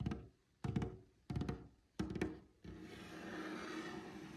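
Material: Wood.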